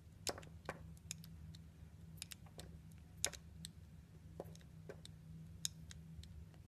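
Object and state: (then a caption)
Glycerin soap being cut. A metal utility blade cuts and scrapes a small, solid, translucent orange glycerin soap cube held between the fingers. About a dozen short, crisp, bright clicks and scrapes sound over a steady low hum, each dying away almost instantly.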